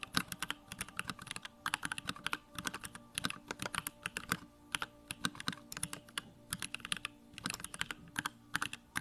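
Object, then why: Mechanical keyboard with plastic case and keycaps. Fingertips type rapidly on a small Bakeneko65 65% mechanical keyboard with Durock lavender switches, a plastic case and pink-white plastic keycaps, resting on a wooden desk. Quick bursts of short, bright clacks with a faint low thock underneath are separated by brief pauses, and each keystroke dies away almost instantly.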